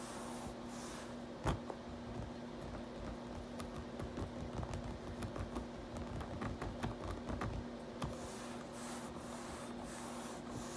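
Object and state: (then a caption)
Plastic computer keyboard. A palm and fingers rub and slide across the keycaps of a black plastic RGB backlit computer keyboard, making a soft, continuous scratchy friction. A few sharp clicks from key presses stand out, over a faint steady low hum.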